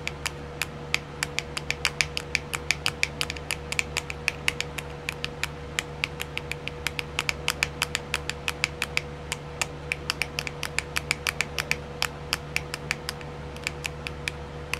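Long silver-painted nails tap and scratch the lid of a small, round, clear plastic compartment wheel filled with colored rhinestones. About 80 short, bright plastic clicks come in a quick, uneven stream over nearly 15 seconds, each dying away almost at once. Beneath them runs a steady low hum and a faint constant tone around 500 Hz.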